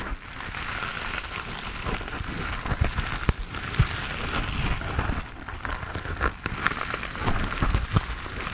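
Fingertips and nails tap and scratch the textured surface of a hand-sized grey foam sponge on a tan foam base, solid and porous, held in both hands close to the face. A steady, dense crackling rustle fills the clip, heavy in the low end, with short, sharp taps popping out at irregular moments.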